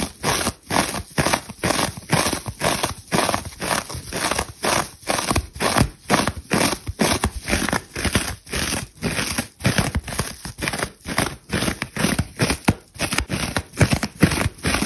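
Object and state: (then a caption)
Dry foam sponge being scratched. A large, dry foam sponge with orange and yellow layers is held in the hand and scratched with long red nails, breaking off crumbs. Rapid, uneven bursts of crackly, crinkling scratching repeat about twice a second, each short and dry with a broad rasp from low to bright.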